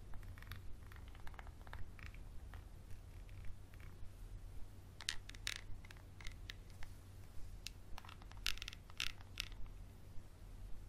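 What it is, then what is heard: Textured glass bottle tapped and scratched with a pencil. A wooden pencil scratches and taps a small textured glass bottle with a dark cap, held in one hand. Sharp, bright ticks and brief scratches come in an irregular series over a steady low hum.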